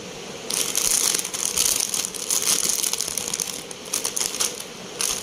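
Fingertips crumple, squeeze and tear open a blue Lay's family-pack crisp bag, a hollow foil-lined plastic bag filled with chips, while a second yellow bag lies nearby untouched. After a quiet first half-second, dense bright crinkling and crackling bursts come in waves, with almost no low end.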